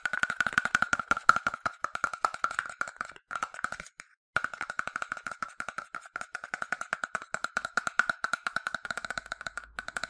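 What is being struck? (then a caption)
Plastic bottle. A yellow, hollow, medium-size plastic sunscreen bottle, partly filled, is tapped rapidly with its detached translucent plastic cap and fingertips. The result is a fast, steady stream of dry, clicky taps with a hollow, woody, mid-pitched tone that stops dead after each hit. The tapping breaks off briefly at about four seconds, then resumes at the same quick pace.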